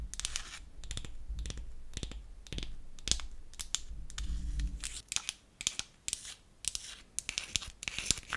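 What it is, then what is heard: Painted wooden toy nail polish bottle. Long acrylic nails tap and scratch the front and cap of a small, solid, pink-painted wooden toy nail polish bottle held in the palm. The first half is a steady, dry scratching with a low rumble underneath, followed by quick, sharp, bright clicking taps that stop dead with no ring.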